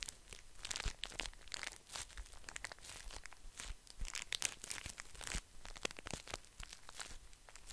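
A soft, full pocket pack of paper tissues in a crinkly printed plastic wrapper is squeezed and scratched with fingertips close to the mic. Dense, continuous crinkling and crackling fills the clip, with bright, sharp snaps over a faint low rumble, each sound cutting off almost instantly.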